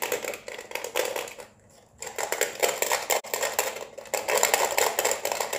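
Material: Plastic.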